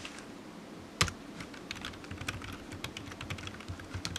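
Fingertips of one hand slowly tap the keys of a solid, black, low-profile plastic computer keyboard resting on a desk mat. Short, dry clicks with bright tops and a soft low thud come one after another, with one sharper, louder click near the first second. The keystrokes continue unevenly over a quiet background.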